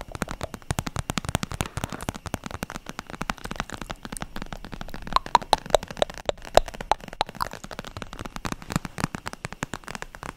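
An iridescent holographic vinyl zip makeup pouch, flexible and with some contents inside, is tapped and scratched with long nails close to the mic. Rapid, crackly taps and scratches run throughout the clip, with a few brief squeaky tones around the middle.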